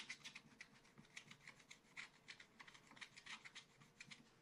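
A wooden stylus scratches short strokes into a black coated scratch art paper page in a small spiral pad on a table, while fingers steady the pad. About twenty quick, quiet, bright rasping scratches follow one another, each dying away almost instantly, with very little low-end weight.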